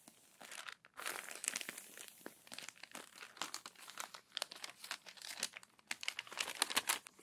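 Fingertips and long nails smooth and turn the crumpled, crinkled pages of an open glossy paper magazine. A dense run of quiet, bright paper crinkles and crackles sounds in quick, uneven bursts, with a short silence near the start and almost no low end.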